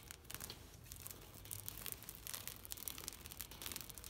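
Long nails scratch and rub a thin, flexible green woven plastic mesh shade net stretched on a fence. The result is a steady, bright, crackly rasp, like tearing or crinkling, made of rapid short scrapes with a faint low rumble underneath.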